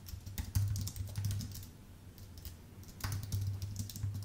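A full-size white Apple Magic Keyboard with numpad, with a thin aluminium base and plastic keycaps, sits on a dark desk and is typed on steadily with the fingertips of both hands. Quick, soft key taps come with bright, clicky edges. A steady low hum around 100 Hz swells during two busier stretches of typing.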